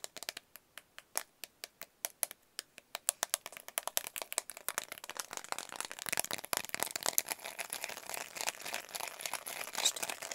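Fingertips and nails tap and press the colored rubber buttons of a small, flat plastic LED remote control held close to the microphone. Sharp, bright clicks start out spaced apart, then speed up into a dense, rapid patter of crisp taps with almost no low end and no ring.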